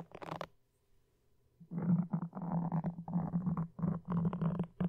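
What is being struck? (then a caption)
Foam microphone windscreen. Wooden toothpicks held in both hands scratch and poke a black foam microphone windscreen. The result is a muffled, low, rumbling scratching: a short burst, a near-silent pause, then dense, uneven bursts of scraping that continue to the end.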